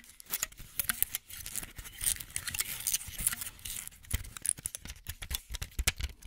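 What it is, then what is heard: Plastic and foil blister pack, tapped and shaken. A plastic and foil pill blister pack is handled close to the mic, with fingernails tapping on its bubbles while the pack is rattled and shaken. The result is a dense run of crisp, bright clicks and crinkly rattles with no ring-out, mixed with soft low bumps of handling.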